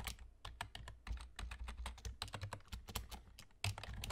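Fingertips of both hands type rapidly on the hollow key caps of a black plastic external gaming keyboard with a German layout. A fast, uneven stream of sharp, bright clacks with short decays is heard over a steady low hum.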